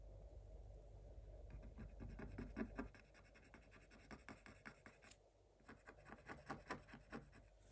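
Fingers hold a thin wooden stylus and scratch lines into the black wax-coated scratch-art page of a spiral Paw Patrol book lying flat. Quick, uneven scratchy strokes repeat at about two or three per second, with a low rumble under the first three seconds before the strokes continue more quietly.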